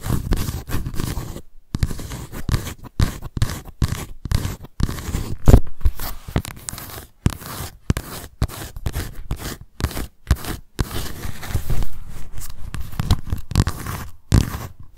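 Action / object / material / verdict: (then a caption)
scrape / paper notebook with embossed cardboard cover / cardboard / none. Long nails scratch across the embossed cardboard cover and raised letters of a white paper notebook. The result is a run of short, dry scraping strokes separated by brief pauses, mostly low and dull with little bright content.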